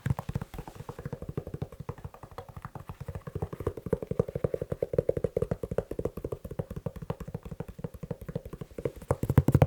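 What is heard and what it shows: Fingers tap quickly on a leather shoe in a steady, rapid stream of short, dull taps. The taps are low and muffled, with a soft mid-range knock and almost no high sound, and each one dies away at once with no ring.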